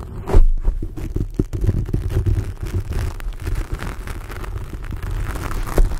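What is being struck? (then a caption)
Foam microphone windscreen. Fingers of both hands grip, squeeze and rub a black foam windscreen on a large microphone. The result is a dense, deep rumbling scratch made of rapid muffled crackles and thumps, almost all low in tone, with a louder burst near the start and another near the end.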